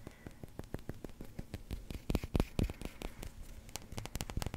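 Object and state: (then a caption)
Resin billiard ball. A small solid yellow resin billiard ball is held close to the mic and tapped with fingertips and nails. It makes a steady stream of short, dull clicks and low thuds with almost no ring, over a faint crackly hiss. The taps grow sharper and louder in the middle before settling back into quick, lighter taps.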